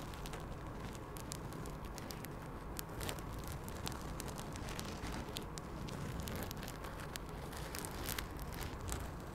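A small floral-print quilted fabric pouch with a strap is held close to the mic and scratched by long acrylic nails. The result is a soft, hollow rustle with a steady low rumble and many brief crisp ticks spread across the clip.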